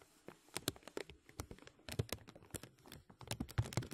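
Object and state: Crinkling plastic bag.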